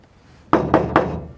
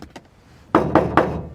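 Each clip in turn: First: car roof panel damped with sound deadening mat, sounds solid. Second: bare sheet-metal car roof, untreated before sound deadening.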